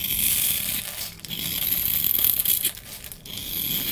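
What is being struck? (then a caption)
Soap bar scraped with a knife blade. A solid oval blue bar of soap, held in one hand, is scraped and carved with a utility knife blade, shavings falling off. The sound is a steady, bright, crisp scraping with a fine crumbly rasp, briefly easing near 1.2 and 3.2 seconds between strokes.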